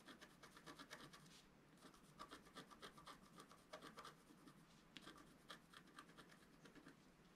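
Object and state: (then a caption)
Scratch art paper being scratched. A wooden stylus scratches near the lower part of a thin, flat, black-coated scratch art sheet. It makes a quiet series of short, dry, rasping strokes with bright high hiss, each fading quickly.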